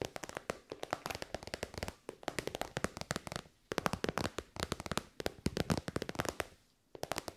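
A shiny, hollow pink metallic faux-leather pouch is tapped rapidly with long white nails. The result is quick bursts of sharp, dry, crackling clicks with almost no ring, broken by brief pauses.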